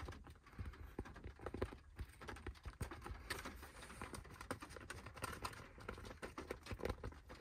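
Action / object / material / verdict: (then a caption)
tap / fabric baseball cap / fabric / none. A black fabric baseball cap with a logo, resting on a lap, is tapped and scratched with fingertips and nails on its crown and logo. A steady run of quick, soft, muffled taps with low thuds is heard, mixed with dry, bright scratching that comes and goes.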